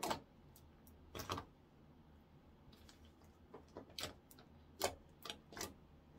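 A palm-sized blob of translucent orange clear slime, soft and solid, is squeezed, folded and poked with fingertips on a wooden counter. It makes a scattered series of short, sharp, clicky pops and crackles with bright high-end snap, separated by quiet gaps. Each pop dies away almost instantly.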